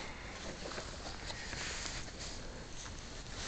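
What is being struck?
Nothing is struck.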